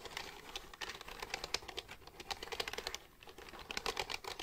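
Fingertips rapidly type on the keys of a black plastic computer keyboard held upright, making quick, bright, dry clicks with almost no ring. The clatter runs steadily, dips briefly around the three-second mark, then resumes.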